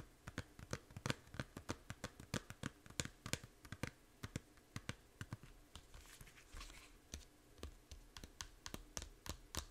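Long nails tap on the front of a small, hollow plastic Fantasy Life 3DS game case, which is then turned so its edge is tapped. A rapid series of crisp, dry clicks with a slight low knock stops almost instantly, with a softer, brushing stretch partway through.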